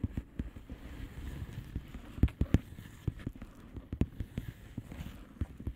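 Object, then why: Plastic bubble wrap envelope. A flat blue plastic bubble wrap envelope is tapped and scratched with long polished fingernails, giving a quick, uneven run of dull, low-heavy taps over a soft scratchy rustle. The taps are short and dry with almost no ring, a few landing noticeably harder than the rest.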